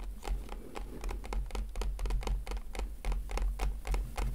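Fingers gently tap on a plastic package in a quick, uneven patter of soft, crisp clicks over a steady low hum.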